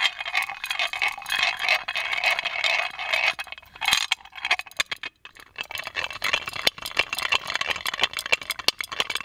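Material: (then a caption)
Metal. Fingernails tap and scratch the lid knob of a hollow gold-plated metal magic lamp, producing bright metallic clinks and rattly scraping. The first four seconds hold a dense, steady scratching, then quick sharp taps follow in an irregular stream with very short ring.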